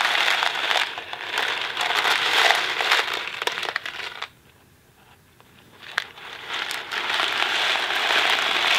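A small Kraft mac and cheese cardboard box filled with dry pasta is held flat in both hands, tapped with fingertips and tilted, making dense, bright rattling and crinkly shuffling as the pasta shifts inside. The sound drops to near silence for about a second and a half, then a sharp tap brings the rattling back until the end.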